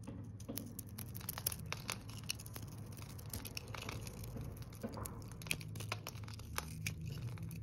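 A metal blade shaves and cuts curls off a solid green, glitter-speckled bar of dry soap held in the hand, with flakes falling away. Many short, crisp scraping and crackling clicks repeat throughout over a steady low hum.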